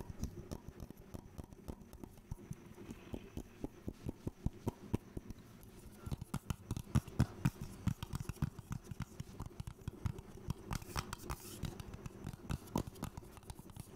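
A small, hollow, round blue metal tin, likely a skin-cream tin, is held in one hand close to the microphone and tapped and scratched with the fingertips and nails of the other hand. The result is a quick, irregular patter of short, dull, low-pitched taps, about four per second, with almost no ring and faint scratchy noise between them.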